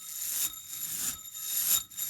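A metal Slinky spring toy coil is moved and shaken, giving a bright, bell-like metallic ringing and shimmer that swells and fades in repeated waves with almost no low end. This is the sound that makes metal Slinkys preferred over plastic ones.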